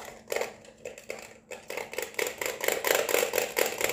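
Long painted nails tap rapidly on an LED neon flamingo lamp, striking its hollow round white plastic base and the neon tube. The result is a run of sharp, hollow plastic clicks with a bright, short-ringing tone around 500 Hz. The taps grow louder and denser through the second half.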